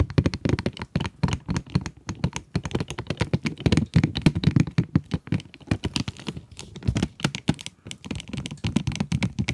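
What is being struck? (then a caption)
Cardboard pencil box with plastic window. Long acrylic nails tap rapidly and continuously on the plastic window of a full cardboard pencil box. The taps are quick, dull and thunky, with weight in the low end and almost no ring.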